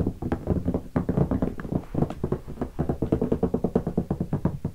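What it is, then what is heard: Guitar hard case tapped. Fingertips tap rapidly on the top of a closed, hollow guitar hard case covered in black leatherette and stickers, lying on carpet. A fast, steady series of dull, hollow knocks follows, low and boomy with a pitch near 180 Hz and almost no bright content. Each tap dies out almost at once.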